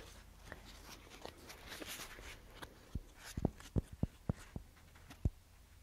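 A paper paint swatch fan deck is held up and split open, and its paper strips are spread and handled with fingers and nails. Soft, papery rustling fills the first half, then gives way to a run of short, sharp clicks and snaps as the strips are flicked apart, each dying away almost instantly.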